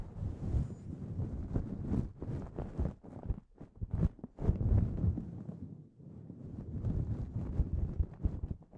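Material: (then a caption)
Synthetic fur. Both hands cup a grey synthetic fur windscreen on a microphone, scratching and squeezing it with the fingertips. The result is a dense, muffled rustling and crackling scratch, heavy in low rumble with little high end, that keeps going in rapid bursts with brief dips near the middle and around the six-second mark.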